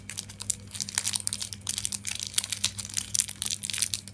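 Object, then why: Plastic film wrapper on a chocolate wafer bar. Fingers with painted nails squeeze, rub and crinkle the red plastic film wrapper along a single long, thin Klick chocolate-coated wafer bar with the solid wafer inside, while other candy sits nearby untouched. A rapid series of bright, dry crinkles and crackles comes in uneven bursts over a faint, steady low hum.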